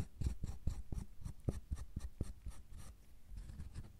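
A metal loop tool and a pointed metal tool scrape and carve the surface of a solid milk chocolate bar. It makes a quick series of short, dry scraping strokes, soft and low-heavy, with a faint bright grit on each pass and almost no ring.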